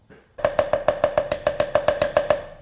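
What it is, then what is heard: Wooden pattern in sand mold, rapped loose and sounding hollow. A wooden capstan casting pattern set in a sand mold is rapped 14 times in a quick, steady rhythm before being drawn, each knock short and woody with a ringing tone around 600 Hz. The pattern now sounds hollow, showing it has come free of the sand, with parting dust falling out, though one side is still locked down.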